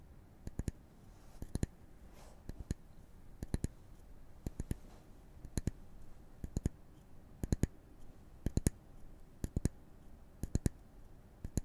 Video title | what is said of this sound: [男音声ASMR] 心が落ち着く5-4-3-2-1 グラウンディング 【コーピングASMR・心の応急処置・セルフケア・解説&実践ロールプレイ・木のタッピング】 | ابتدا، دوباره توجه خود را روی این صدای تق تق که می‌شنویم متمرکز می‌کنیم. این صدای ضربه زدن به چوب است.